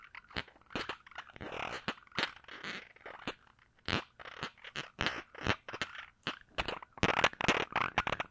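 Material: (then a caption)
Glass. A small glass perfume bottle with a round cap is held in one hand while the fingers of the other hand work at the cap, twisting or rubbing and scratching it. The result is a quiet, irregular series of sharp, dry clicks and short crackling scrapes, bright with little low end. Each sound stops almost at once with no ring.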